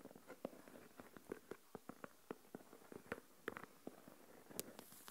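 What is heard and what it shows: Long nails tap the lid of a small translucent plastic deli tub with a lid, full of coarse salt, and scratch along the lid rim. About seventeen quiet, sharp, dry plastic clicks centered around 430 Hz stand apart over a soft scratchy hiss. Each click dies away almost instantly, with occasional brighter ticks.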